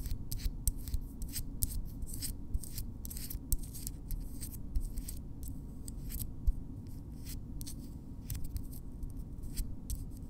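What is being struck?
Keratin fingernails.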